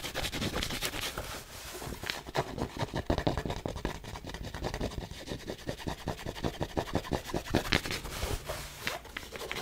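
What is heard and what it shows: Long nails scratch along the soft fabric crown and brim of a black cotton Nike baseball cap. The rapid, dry, rasping strokes run steadily throughout, with a brushy, bright texture and a soft low rumble underneath.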